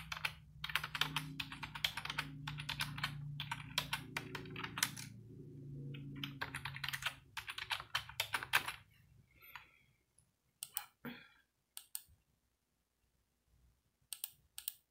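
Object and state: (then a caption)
Plastic computer keyboard being typed on. Fingertips with long nails type steadily on a white, hollow-bodied plastic computer keyboard resting on a desk. Dense bright key clicks run for about nine seconds over a low hum. Then the typing thins to scattered taps with silent gaps, and a short rustle is heard near the ten-second mark.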